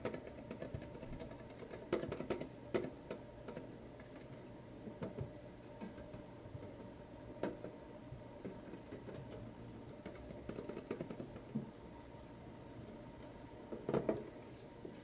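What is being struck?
Tin metal lunchbox.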